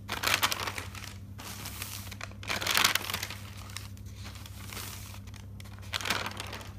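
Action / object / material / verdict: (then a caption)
scrape / paper notebook pages / paper / none. A hand sweeps across an open thick paper notebook and quickly flips its pages, making bright, fluttering paper rustles and crinkles. Three louder bursts of flipping stand out, near the start, around three seconds, and near six seconds, over a steady low hum.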